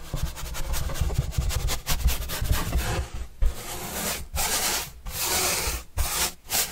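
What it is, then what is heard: Cardboard pizza box being brushed. A pointed paintbrush brushes across the surface of a large, flat, hollow white corrugated cardboard pizza box with green edges, held upright. Quick, choppy strokes come first, then longer sweeping strokes separated by short pauses. The result is a dry, scratchy rubbing with a bright hiss over a low, hollow rumble from the box.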